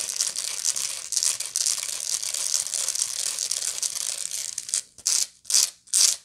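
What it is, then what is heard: Woven straw bag scratched. Long nails scratch the rounded woven bottom of a medium, hollow woven straw bag, making a dense, bright, crackly scratching for about five seconds. This is followed by three separate short scratching strokes with brief silences between them.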